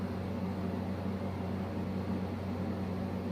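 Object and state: Nothing is struck.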